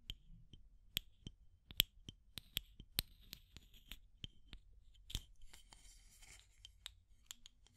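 Long matte grey nails tap and scratch on the aluminum screw lid and wall of a small clear plastic tube container with a pink item inside. The result is a quiet series of sharp, brief, bright clicks, each with a faint ringing tone near 3.2 kHz, followed around the middle by a soft, hissy scratching before the taps resume.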